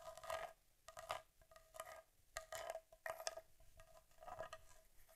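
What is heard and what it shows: Long nails tap and scratch the front of an upright Argus C3 vintage camera, a solid metal body with leatherette covering. Quiet clusters of short clicks and raspy scratches with a faint metallic ring around 650 Hz come in irregular bursts, with brief pauses between them.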